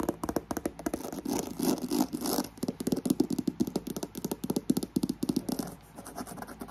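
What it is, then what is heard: Croc-embossed faux leather handbag. Long acrylic nails scratch and tap quickly across a black croc-embossed faux leather handbag, first on its side and then on its flat front face. The result is a fast, irregular stream of short, dry scratches and clicks with a mid-range body, over a steady background fan noise.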